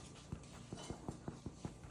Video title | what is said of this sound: Cinnamon Rolls - The Rogue Chef Branson | if you hear that Hollow sound it's done